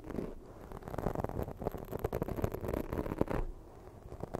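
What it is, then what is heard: Foam microphone windscreen scratched with nails. Long pointed fake nails scratch and drag across a black foam windscreen on a microphone. The result is a dense, muffled stream of low rubbing and crackling scratches, busiest in the middle and quieter toward the end.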